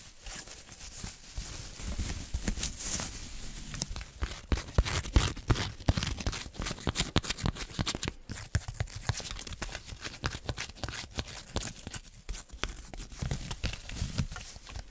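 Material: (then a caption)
Plastic tinsel. Long nails scratch across a flat jack-o'-lantern decoration with a witch hat, covered in orange and black plastic tinsel. The result is a steady, irregular crinkly rustling with many quick, dry scratches and a low, muffled undertone.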